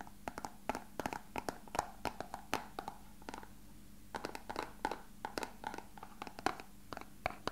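A small, hollow, translucent rectangular plastic box is held in the hands and tapped and scratched with fingertips and short nails. Quick, dry, hollow clicks with a mid-pitched knock around 770 Hz come in irregular bursts, with a short lull near the middle, over a faint steady low hum. Each tap dies away almost instantly, leaving the whole clip quiet and close.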